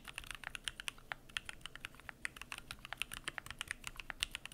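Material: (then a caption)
Plastic. Fingertips type continuously on the PBT plastic keycaps of a Keychron Q1 aluminum mechanical keyboard. The result is a fast, uneven stream of short, bright clacks with almost no low end, each tap dying away instantly.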